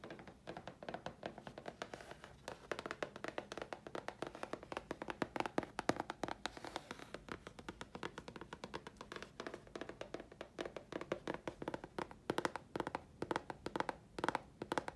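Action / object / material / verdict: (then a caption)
tap / thin chipboard sheet / chipboard / none. A thin, flat grey chipboard sheet held in the hands is tapped on its face with long fingernails. The result is a dense, fast run of short, dry clicks and taps with almost no ring, centred in the low-mid range.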